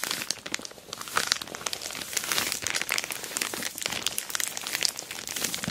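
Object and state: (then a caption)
Plastic mailer bag over a box. Long black acrylic nails and fingertips scratch, rub and press an orange glossy plastic Temu shipping bag wrapped tightly around a medium-size rectangular boxed package holding a dual-camera dash cam, lying flat on a patterned cloth. The result is a dense, continuous run of bright, crisp crinkling and crackling with many quick ticks and almost no low end.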